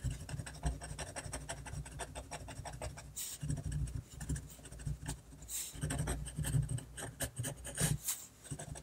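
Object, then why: Fine-tip pen on a sheet of drawing paper. A fine-tip technical pen scratches quick hatching strokes across a flat sheet of drawing paper held down by the other hand. The result is a steady run of soft, dry scratches with a low, muffled body. A few brief, bright hissy bursts rise above it.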